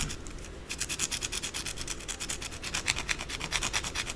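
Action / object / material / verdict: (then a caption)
scrape / solid soap bar scratched with fingernails / soap / none. Long blue acrylic nails scratch quickly and forcefully across a white solid bar of soap held in the palm. After a brief softer rub, a rapid run of bright, raspy scratching strokes follows, each a short dry burst with no ring.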